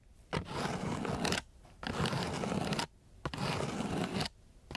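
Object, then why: Sandpaper sheet rubbed with a wooden stick. A long flat wooden stick is rubbed and scratched across a flat, gritty sheet of coarse sandpaper. Three long, coarse rasping strokes of broadband scratchy noise come with short quiet pauses between them, each stroke about a second long and steady in loudness.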